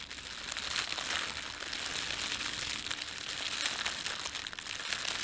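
Fingertips scrunch and rub the film of a thin red printed plastic bread bag. This produces a steady, bright crinkle that runs without a break for about five seconds. The rustling is dense and high-pitched, with almost no low end.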